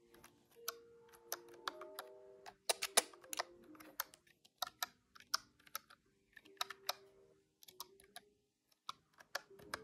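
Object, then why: Plastic desktop calculator keys. A large grey-white plastic desktop calculator with hard plastic keys and a hollow body is held in hand while fingertips press and tap the keys rapidly. About twenty sharp, bright, hollow clacks come in quick, uneven bursts, with faint sustained tones underneath. Each click dies away almost instantly.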